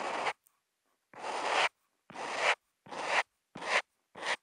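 A Posca marker tip is rubbed across a flat sheet of white Kent paper in short hatch strokes, picked up by a contact mic on the marker. Six separate dry, raspy scratching strokes are heard, each a bright, hissy rub with fairly abrupt starts and stops and silence between them.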